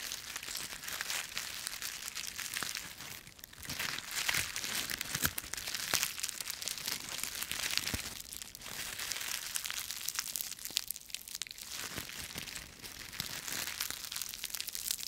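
A wad of dry autumn leaves with stems is crumpled and crushed between the fingers of both hands. The result is a continuous, bright crinkling and crunching with dense, sharp crackles that come and go in waves over fifteen seconds, with almost no low end.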